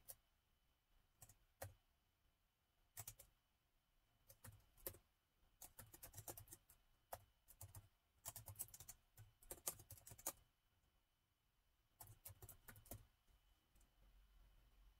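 Fingertips of both hands type on the black plastic keys of a gold laptop keyboard. Quiet bursts of short, bright clicks with a soft low thump come in uneven clusters separated by brief pauses, and each click dies away almost instantly.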